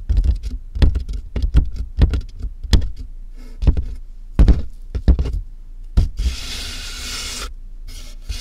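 Fingernails tap and scratch the top of a medium, closed corrugated cardboard box with a microphone inside, making a run of irregular, hollow, bass-heavy thumps. Near the end, hands brush along the box's sides with a longer, hissing rub.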